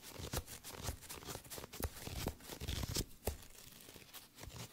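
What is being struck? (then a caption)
Paperback book paper pages. Fingertips and thumbs riffle and rub the cream page edges of a small green-covered paperback book held in both hands close to the microphone. Fast, papery flicks like a card shuffle come in quick bursts with sharp rustling transients over soft crinkling between them.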